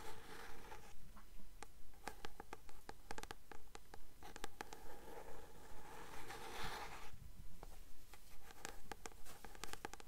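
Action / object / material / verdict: scrape / paperback book with glossy card cover / paper / none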